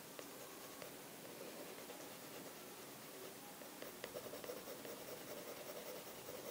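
A light-blue pencil makes small, detailed strokes on an open sketchbook page of thick drawing paper lying flat on a desk. The sound is a quiet, steady, grainy scratching with a soft hiss. Faint ticks and quick strokes grow busier in the second half.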